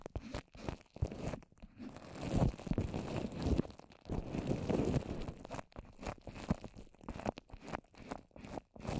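Long orange nails tap fast on a small rounded dome of wet white papier-mâché covering a microphone. The result is a dense run of soft, muffled crunching and crinkling taps, heavy in the lows with little brightness, swelling and fading in loudness throughout.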